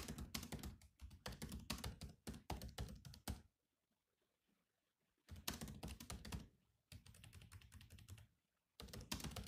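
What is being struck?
Plastic laptop keyboard keys.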